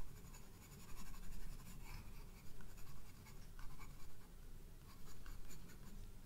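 A graphite pencil draws fine detail lines on the white paper of a spiral-bound sketchbook page. Soft, irregular scratchy strokes rise and fade over a quiet, steady low rumble.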